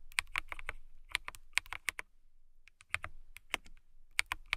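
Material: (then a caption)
Plastic. Fingertips with long nails type on a clear plastic mechanical keyboard with transparent keycaps, producing about nineteen sharp, bright clicks with a short pause midway. The keystrokes are crisp and quick with almost no ring, centered around a clicky 2.2 kHz tone over a soft low thump.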